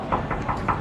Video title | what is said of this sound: 🔥 ASÍ ES el MEJOR CLUB de PADEL del MUNDO *ULTIMATE PADEL NIVEL WORLD PADEL TOUR* - el4Set | ça sonne ... comme un verre